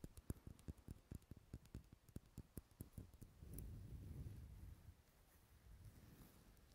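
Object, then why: Solid wax pillar candle. A large, dark red, unlit solid wax pillar candle is held in a hand close to the mic and tapped with long nails, giving a quick, uneven run of short, dull, low taps with no ring. The nails then scratch the wax in a continuous soft, rough rustle that fades lower toward the end.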